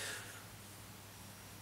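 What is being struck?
Nothing is struck.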